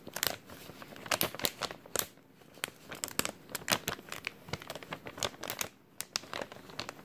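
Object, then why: Thin clear plastic bag. A thin, empty clear plastic bag is crumpled and stretched between both hands. Dense, sharp crinkles and crackles come in quick bursts, bright and crisp with almost no low end, and each crackle stops at once.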